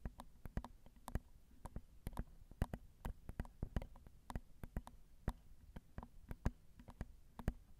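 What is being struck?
Metal mesh microphone grille.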